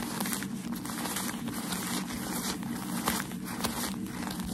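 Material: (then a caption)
Paper. Thin white crumpled packaging paper used for wrapping shoes is held in both hands while fingertips and nails scratch and tap its wrinkled surface and gently crinkle it. A steady, soft crackling rustle runs throughout, with a low hum underneath and faint brighter taps standing out now and then.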